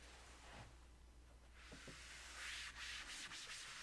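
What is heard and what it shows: A blue foam eraser held in the hand is rubbed across the flat surface of a large black chalkboard in a wooden frame, wiping off chalk writing. Soft, bright, hissy scrubbing strokes come and go in uneven passes, growing stronger toward the end over a faint low hum.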